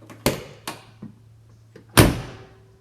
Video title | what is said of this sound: 1972 Porsche 911T Gemini Blue | both left and right doors are like that they have a beautiful sound